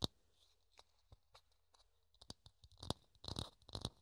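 Fingertips tap and scratch the curved surface of a small, hollow, thin clear plastic dome held in the hands. Quiet, dry clicks and bright scratchy ticks come in sparse bursts, each dying almost at once. The taps grow denser and louder toward the end.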